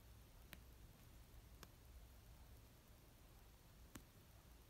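An orange paperback novel of solid paper resting on a blanket is tapped slowly with painted nail tips and fingertips. Three short, sharp, bright clicks stand well apart over a quiet, low, steady background hum.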